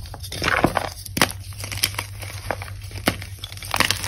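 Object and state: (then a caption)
Gym chalk block crumbling. Pieces of a solid, brittle, dyed white-pink-blue gym chalk block (magnesium carbonate) are crushed and snapped between fingertips with long pink nails over a bowl of chalk powder. Sharp, bright cracks and crumbly crunches come in irregular bursts over a steady low hum, with each snap dying away almost instantly.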